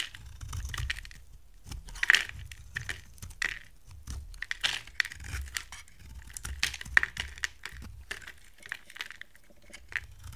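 A hand-sized, solid oval purple bar of dry soap with gold paint on the outside is held in one hand and shaved and scraped with a steel box-cutter blade. The result is a run of short, dry, crisp scraping and crunching strokes with a bright edge around 1.9 kHz and no ring-out. Soap chips fall onto a pile of shavings beneath a low, soft rumble.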